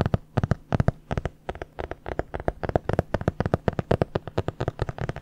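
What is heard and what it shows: Long dark-painted nails tap and scratch the board cover of a medium red hardcover notebook, held closed and upright in front of a microphone. About 35 quick, dry, low-toned taps come in an uneven rhythm, each dying away almost instantly, with faint scratching between them.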